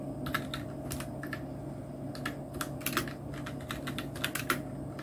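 Fingertips of both hands type on a full-size black plastic mechanical keyboard, a Nubwo Illusion NK-70 with Outemu red switches, round plastic typewriter-style keycaps and blue backlight. Quick, bright clacking keystrokes come in uneven bursts over a steady low hum, each click short and dry with a fast decay.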